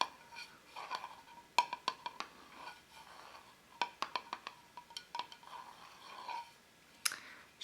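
Fingernails tap on a small four-ounce glass jar candle, scented cinnamon donuts. Sharp, bright clicks ring around 1 kHz in quick, uneven bursts, with softer brushing between taps.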